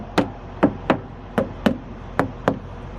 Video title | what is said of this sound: Truckin with Jake! | a hard kind of bouncy sound and not like a hollow sound